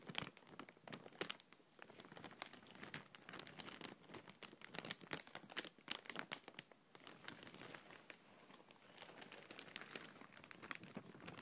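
An empty, clear printed plastic bag is crinkled and rubbed by fingertips and nails. The result is a steady stream of soft, bright crackles and rustles with short sharp snaps. There is almost no low end, and nothing rings on after each sound.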